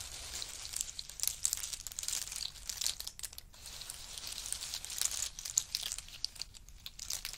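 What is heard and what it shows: Fingers stir a pile of in-shell pistachio nuts in hard shells and drop handfuls back onto the heap. The result is a dense, bright, rattling clatter of many small clicks and crackles, mostly high in pitch with almost no low end. It swells and eases as each handful falls.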